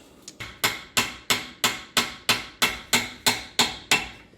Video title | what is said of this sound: Ford 8.8 Swap - Nova Project PT 3 | hear the tone change there so we know it's in all the way